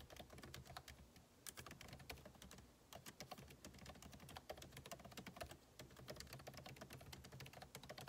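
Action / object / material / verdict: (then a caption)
tap / laptop keyboard, plastic keys in a metal body / plastic / none. Fingertips type rapidly on the plastic keycaps of a backlit MacBook Pro keyboard set in an aluminum body. A dense run of short, crisp clicks and taps, with bright key attacks, sits over a steady low hum. Each keystroke dies away almost at once.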